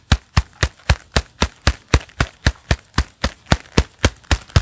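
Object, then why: Leather gloves on clapping hands. Gloved hands in a pair of black leather gloves clap their palms together and rub against each other, making 18 short, dull slaps at a steady, quick pace. Each clap is a dry, deep thump with a brief bright smack and almost no ring, with faint leather rubbing between hits.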